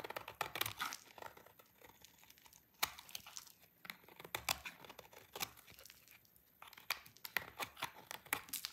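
A utility knife blade scrapes thin, crumbly shavings from the corner of a small, solid, dry pink soap bar held in the hand, over a pile of soap flakes. Dry, crisp scratching and crunching come in quick, bright bursts with sharp cracks and almost no low end, separated by brief quiet pauses.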